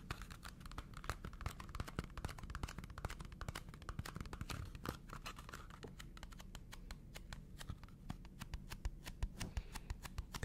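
A small, hollow red cardboard McDonald's fries carton is tapped and scratched with fingernails. Rapid, dry, bright clicks and short scratching strokes come in a dense, uneven stream over a low, steady hum. Each tap dies away almost at once.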